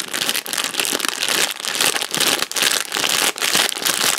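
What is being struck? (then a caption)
Thin plastic candy packet. A purple printed plastic packet for Wispa bars is crinkled and rubbed between the fingers. It makes a dense, bright crackling that sits mostly in the high frequencies, coming in continuous bursts broken by a few brief dips.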